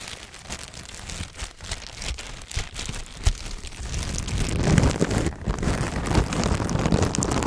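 A thin clear plastic bag is crinkled and stretched with both hands in front of the microphone. A dense, irregular crackling and rustling, like patter on a surface, stays soft for about four seconds, then swells into louder, fuller crinkling with a deeper low-end rustle for the rest of the clip.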